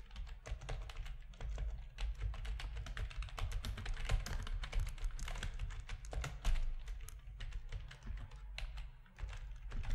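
Fingertips of both hands type steadily on a full-size black plastic RGB-backlit keyboard with a hollow plastic housing resting on a desk. The result is a dense, continuous run of short, dry, bright key clicks and taps over a strong low hum.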